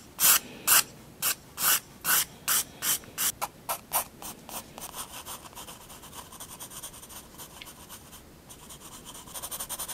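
A graphite pencil draws lines on a white sketchbook sheet, scratching across the paper. Loud, bright, separate strokes come first, then shift into faster, softer, steady scratching that swells slightly at the end.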